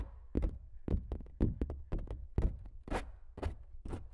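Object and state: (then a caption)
Stretched canvas print. Fingertips and nails of both hands tap and knock across a large flat giclee print on canvas stretched over a frame, hollow behind. About thirteen short, dull, low thumps come in an uneven rhythm, each with a brief papery tick that dies away almost at once.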